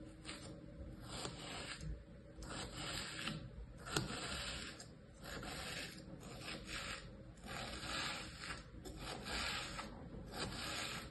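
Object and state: Kinetic sand scraped with a metal tool.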